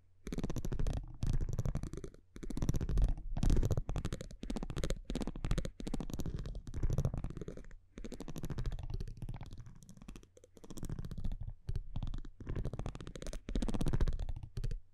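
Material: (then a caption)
Cardboard. A metal tweezer-like tool scratches and taps across the printed front of a thin cardboard baseball trading card held in one hand. Dense, rapid crackling scratches come in bursts of a second or two separated by brief pauses. The sound is close, soft and heavily low-weighted, with little brightness.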